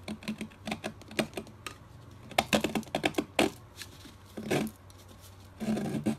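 A metal box-cutter blade scrapes and shaves a solid rectangular pastel chalk block with white, pink, orange and blue stripes, held in the fingers over white paper. Quick, dry crackling scrapes and sharp ticks come in uneven bursts, with a few longer rasping strokes. Crumbly chalk flakes off onto the paper.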